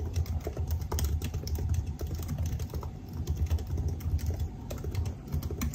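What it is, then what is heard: Laptop keyboard with plastic keys. Fingertips type steadily on the black plastic keys of a silver aluminium laptop, producing a rapid, continuous stream of short, dull key taps. The taps are soft and low-weighted, with a slight bright click on top and almost no ring after each press.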